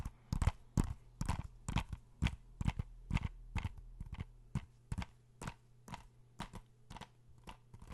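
Fingernails tap and scratch a blue plastic PS4 game case held in both hands. Short, dry clicks with a soft low thud and crisp bright edges land in an uneven rhythm of roughly two per second, with faint scratching between them. The taps grow gradually softer toward the end.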